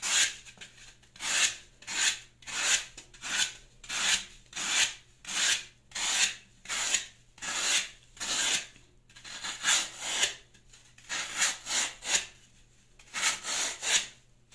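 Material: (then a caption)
Floral foam. The metal blade of a plastic Y-peeler scrapes and peels layers off the surface of a solid green floral foam block. A series of bright, dry, rasping strokes repeats at a steady pace, each a short hiss with no ring. Brief pauses fall near the middle and toward the end.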